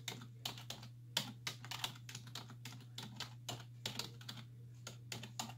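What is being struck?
Plastic computer keyboard keys.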